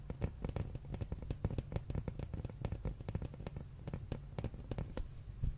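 Fingernails tap rapidly on the glossy printed red cover of a large, flat hardcover art book held up in the air. Each tap is a short, dull, low-pitched knock with a faint click on top and no ring, in a quick, uneven stream.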